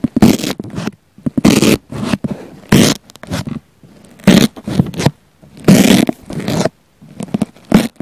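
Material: Foam.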